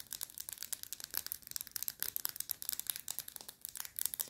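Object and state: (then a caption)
Plastic highlighter pen. Long red nails rapidly tap and scratch the hollow barrel of a small plastic highlighter pen with a popcorn-box design and a black cap. About two dozen quick, dry, bright clicks and scratches come in a fast, uneven run, each dying almost instantly. The sound stays quiet and crisp, with almost no low end.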